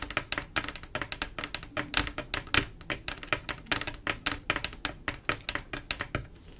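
Long acrylic nails on both hands tap and scratch across a flat panel of silver mirror-glass mosaic tiles set in grout. About 39 quick, bright, clicky taps come in rapid irregular bursts with light scratching between them. Each tap dies away almost at once.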